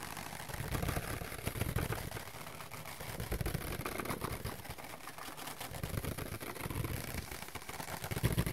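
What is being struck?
Thin paper plate.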